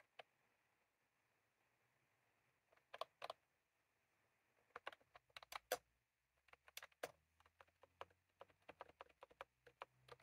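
Fingertips of both hands type on a white/cream plastic retro computer keyboard with round typewriter-style keycaps, resting on a desk. Crisp, short plastic key clicks come in scattered groups, sparse at first and then in quicker bursts, over a faint steady background hiss.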